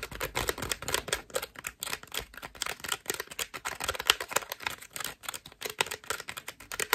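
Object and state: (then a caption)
Foam bath loofah being scratched. Long nails scratch quickly across a white foam bath loofah with soft ruffled strips. The result is a dense run of rapid, dry, bright scratching bursts with almost no low end and no ringing between strokes.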